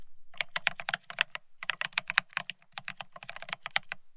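Both hands type rapidly with their fingertips on a Bear65 mechanical keyboard fitted with blank white matte ceramic keycaps (Cerakey) on a steel plate, resting on white cloth. The result is a quick stream of short, bright, glassy clacks over a soft low thud, with a brief pause near the middle.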